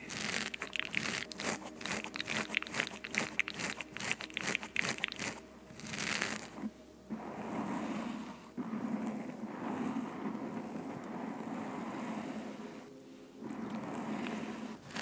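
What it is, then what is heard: Foam microphone windscreen scratched and squeezed. Long nails of both hands scratch and squeeze a black foam windscreen on a microphone. Quick, bright crackling scratches come first, followed by steadier, softer rustling as the foam is squeezed.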